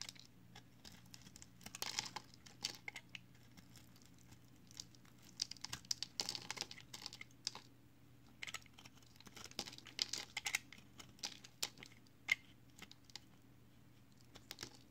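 A utility knife blade carves and scrapes the edge of a hand-sized, multicolored recycled soap bar made of pressed green, blue and yellow soap chips. Quiet, bright, crisp scraping and crunchy clicking comes in irregular bursts over a faint, steady low hum.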